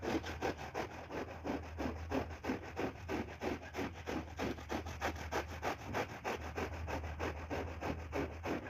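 A push broom with stiff bristles scrubs back and forth over a foamy, wet, ladybug-shaped red-and-black synthetic shag rug. It makes a steady run of quick, wet, rasping swishes at about three strokes per second, over a faint low hum.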